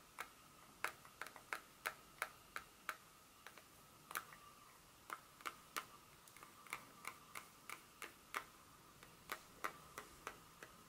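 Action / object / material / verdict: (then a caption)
tap / dark chocolate bar tapped with fingernails / chocolate / none. Long pointed nails tap and scratch the back of a solid, flat dark chocolate bar held in the hand. About two dozen sharp, dry clicks come at an uneven pace, each bright and very short, with a faint ringing tone around 1.3 kHz over a quiet hiss.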